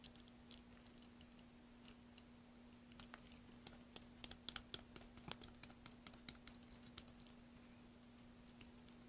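A solid green soap bar, held in the hand over a pile of soap shavings, is carved with a blade, giving quiet, bright, crisp scraping and clicking bursts that come and go irregularly and grow busier toward the middle. A faint steady low hum runs underneath throughout.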